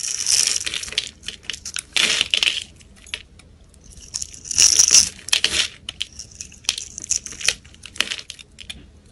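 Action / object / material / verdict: scrape / soap bar scraped with a knife blade / soap / none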